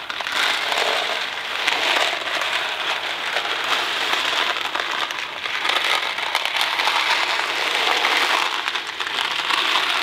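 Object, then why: Cardboard box holding dry pasta. A small Kraft mac and cheese cardboard box filled with dry pasta is tapped on its side with fingertips and handled in both hands. The result is a steady, dense crackling rattle of pasta shifting inside the cardboard, bright and papery with almost no low end, swelling and easing slightly over the clip.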